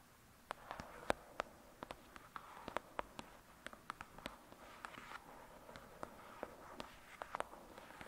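Long, pointed dark red nails tap and scratch the glossy card cover of a thick paperback novel, a solid paper block resting on a fluffy surface. Quiet, dry, irregular clicks with a bright edge sound over a soft, mid-range scratching rustle. Each tap dies out instantly with no ring.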